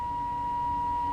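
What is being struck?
Nothing is struck.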